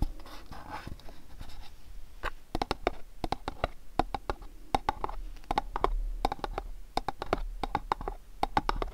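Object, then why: Cardboard box. A long, rectangular, mint-green printed cardboard sock box, hollow and held in both hands, is tapped and scratched with fingertips and nails. Soft scratching rustles give way to quick, dry, sharp taps with a short hollow tone near 730 Hz. The sound is quiet and close, with no ringing after each tap.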